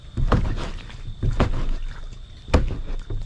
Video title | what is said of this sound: Exercise in Futility #boat #failure #mistakes | maybe you can hear it sloshing. Can you hear the slosh?